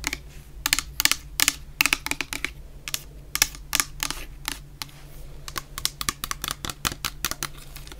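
Long painted nails tap the bottom of a medium clear plastic bottle full of orange shower gel in a quick, irregular series. Each tap is a short, dry, bright click that dies almost instantly. A faint steady low hum sits underneath.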